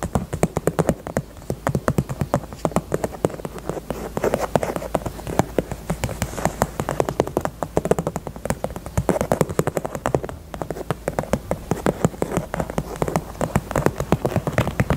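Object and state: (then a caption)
Faux leather purse tapped with nails. Long nails tap quickly on the bottom of a small, hollow pink faux leather heart purse. The result is a steady stream of rapid, dry, muffled taps with a low-mid hollow body and almost no ring, with a brief lull near the ten-second mark.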